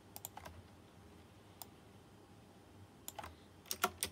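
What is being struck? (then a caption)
Plastic mechanical keyboard with metal-rimmed keycaps. Fingertips at the left edge of a white plastic mechanical keyboard with round chrome-rimmed keycaps press keys sparsely. About eleven sharp, bright clicks come in loose clusters near the start and end, with long quiet gaps between. Each click dies away almost instantly.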